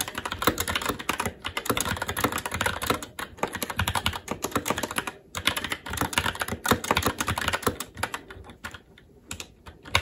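Fingertips of both hands type continuously on a SteelSeries Apex 7 TKL mechanical keyboard with red linear switches, plastic keycaps and a metal top plate. The result is a fast, dense stream of short, clacky keystrokes with brief pauses around 1.3, 3.2 and 5.2 seconds. Near the end the typing thins into softer, sparser taps before a final sharp keystroke.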